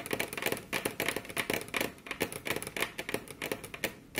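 Very long curved nails on both hands tap their tips on a flat, solid, glossy dark-brown wood-grain table top. A rapid, irregular series of sharp, bright clicks comes through, centered around 2 kHz with little low end. Each tap dies away almost at once.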